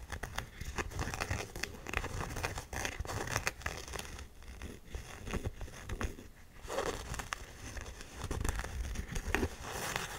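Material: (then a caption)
Canvas. Long nails tap and scratch the canvas near the logo of an empty, hollow black canvas Converse high-top with a white rubber sole. The result is a steady run of soft, dense crinkly scratches broken by quick, dull taps with a muffled, low-heavy tone.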